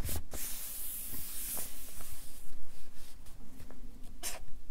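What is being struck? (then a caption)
Felt-tip marker on paper sheets on a clipboard. A felt-tip Sharpie marker writes letters on a stack of white printer paper clipped to a wooden or hardboard clipboard. The tip rubs and scratches across the paper in short, uneven strokes, with bright, hissy scratching bursts at the start and again near the end over a soft, low rumble beneath.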